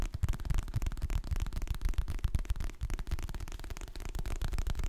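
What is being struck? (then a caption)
Hardcover paper book. A medium, solid hardcover book with a glossy printed cover is held in both hands while fingertips and nails tap and scratch the cover. The result is a fast, irregular stream of soft, dull, low-heavy taps with short decays, mixed with faint, brighter scratching over a steady hiss.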